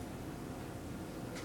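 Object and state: Nothing is struck.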